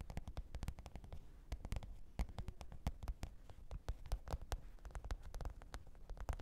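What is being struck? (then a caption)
Faux leather hard-shell case. Long pointed nails tap and scratch the top of a black, textured faux-leather hard-shell microphone case with a zipper, lying flat on fur. A quiet, rapid, uneven run of short, dull, low-heavy taps with brief clicky edges, mixed with soft scratching between them; each tap dies away almost at once.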